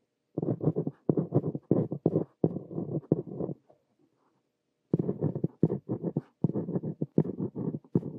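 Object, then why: Ballpoint pen on a lined paper notebook page. A ballpoint pen tip scratches continuously across a lined paper notebook page while writing one sentence. The sound comes as dense bursts of low, papery scratching in short strokes, with a pause of about a second in the middle before the writing resumes.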